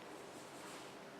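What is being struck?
Nothing is struck.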